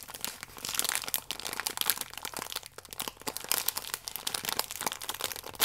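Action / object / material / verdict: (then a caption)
scrape / biscuit pack in thin plastic film / plastic film / none. A full, small plastic-film biscuit pack is squeezed and crinkled with fingertips and nails. It makes a dense, continuous run of bright, crackling crinkles and sharp little snaps for about six seconds, with almost no low end.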